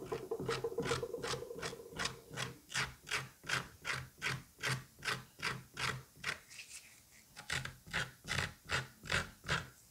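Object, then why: Butternut squash flesh. A scalpel scratches and scores the moist orange flesh of a butternut squash cut in half lengthwise, beside its seed cavity. About 28 short, bright, raspy strokes repeat in a steady rhythm, roughly two and a half per second, with a faint whining tone under the first few seconds. There is a brief quieter pause near the seven-second mark before the strokes resume.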